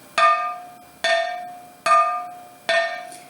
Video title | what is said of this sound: Materiais Cerâmicos | som bem metálico significa está Bem cozido Esse é um som importante na verificação das Telhas